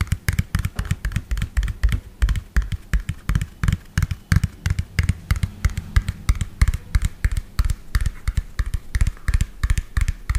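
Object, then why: Plastic toy dump truck. A medium lime-green hollow plastic toy dump truck with an empty tipper bed is tapped rapidly with fingernails in uneven bursts. Roughly fifty quick taps each give a deep, hollow thud with a faint bright click on top, dying away at once with no ring.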